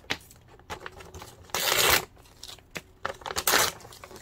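A colourful glossy printed brochure is held in both hands while the fingertips tear and crumple it. Short, sharp crinkles and rustles alternate with two longer, loud, bright ripping bursts, one of about half a second near the middle and one shorter toward the end.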